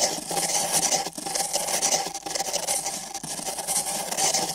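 Thin nylon bristle brushes on sticks scratch and rub along the walls of two identical empty printed paper cups fitted over microphone ears. The result is a continuous, bright, rasping scratch with a papery rustle, rising and falling in short strokes with a few brief dips.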